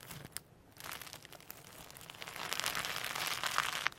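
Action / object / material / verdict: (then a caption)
scrape / slime with loose plastic sequins / slime, plastic / none. Firm sequin hologram slime with extra loose holographic sequins mixed in is pulled apart and pressed with the fingertips on the table. Bright, crinkly crackling and soft popping come in quick, uneven bursts, growing denser and louder through the second half.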